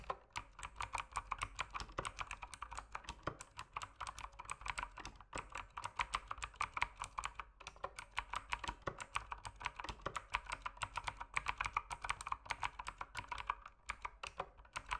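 Fingertips type steadily on a mechanical keyboard with plastic keycaps, producing a dense, continuous stream of short, sharp clicks and clacks. The clicks are bright with a midrange body and little low end, and each dies away almost instantly, with brief pauses between bursts of typing.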